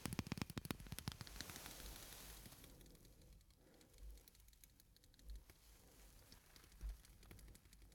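A clear, hollow, empty glass incandescent light bulb held in one hand is tapped with long artificial fingernails and fingertips. A quick flurry of bright, crisp clicks opens the clip, then fades into a soft hissy rustle broken by a few dull, low knocks.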